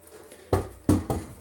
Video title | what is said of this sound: Reupload of deleted LIVE: Unboxing A X3 AntMiner | you shake it without holding the hash board, you'll hear a rattle. And that might make it difficult to hear if any heat sinks have come off.